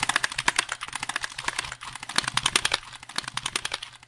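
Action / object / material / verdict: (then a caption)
tap / plastic computer keyboard / plastic / none. Fingertips rapidly tap and press the keys of a hollow black plastic computer keyboard held upright near the microphone. The result is a fast, irregular stream of sharp, bright clicks that each cut off almost instantly.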